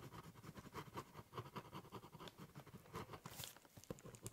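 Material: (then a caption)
Cardboard. The metal-and-plastic tip of a ballpoint pen scratches across a large, flat, hollow corrugated cardboard box lying on a table while drawing and writing. It makes a quiet, dense patter of short scratchy strokes with a hollow, low body. A few brighter scrapes come near the end.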